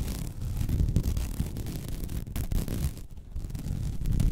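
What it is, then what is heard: Woven vinyl placemat being scratched. Long red nails scratch and drag over the weave of a flat, white woven vinyl mesh placemat. The result is a dense, continuous, low, rumbling scratch with rapid rough texture and brief bright streaks. It thins briefly near the three-second mark before picking back up.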